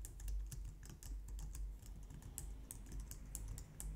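Long nails and fingertips type steadily on a compact, low-profile white plastic computer keyboard. A quick, continuous stream of soft key taps and light clicks, each with a dull low thump and a brief bright click, sits at a fairly quiet level throughout.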